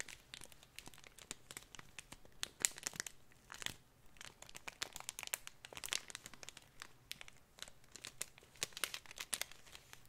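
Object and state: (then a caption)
Plastic bag of glitter. Fingers crinkle and rub a thin clear plastic packet with a cardboard header, filled with coarse multicolor glitter. The result is a quiet, continuous stream of dense, bright crinkling and crackling, made of many sharp, short snaps that fade almost instantly, with a few louder bursts along the way.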